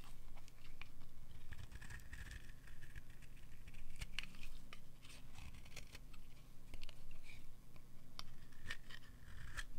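A metal utility knife blade scrapes the edge of a solid, dry, oval blue soap bar held in the hand, shaving it into long curls. Irregular, quick strokes give crisp, dry scraping and shaving sounds with bright edges over a steady low hum.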